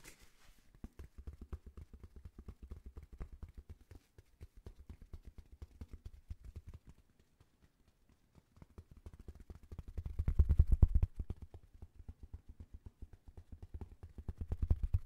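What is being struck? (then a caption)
Thin paper sheet. A thin white paper sheet or card, held in both hands in front of a microphone, is tapped rapidly with fingertips and nails. It makes a dense, uneven stream of soft, dry, low thumping taps with very short decay, briefly pausing near the middle. The tapping then returns, growing louder and heavier in bursts toward the end.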